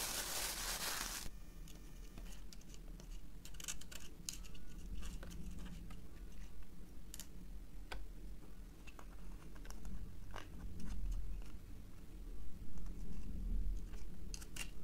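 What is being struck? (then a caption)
Plastic ice cube tray. An empty green plastic ice cube tray, about 20 cm long with hollow rows of cube cells, is held in both hands and tapped and handled with fingertips and nails. Irregular ticking clicks sound over a low, steady hum, starting after a brief burst of broadband noise.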